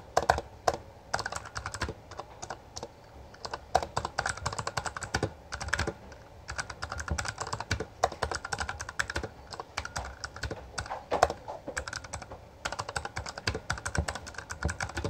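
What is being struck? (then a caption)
Plastic mechanical keyboard. Both hands type continuously with their fingertips on a Bloody B820R, a full-size black plastic mechanical gaming keyboard with backlit keycaps and a hollow housing. Rapid, dry, clacky keystrokes overlap in dense bursts, with a mid-pitched plastic click over a low thump, and each strike dies away almost instantly.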